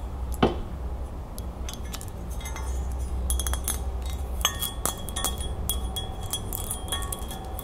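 A small, hollow, silver-toned metal crown-shaped ring holder is held in the hand and turned over while long nails tap and scratch its points, rim and flat underside. Light, bright metallic clinks and ticks ring briefly over a steady low hum, with scratchy rustling between the taps.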